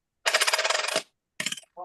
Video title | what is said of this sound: LIVE FROM STUDIO B - It's Paul Murray And Friends.... | this is what a gold coin sounds like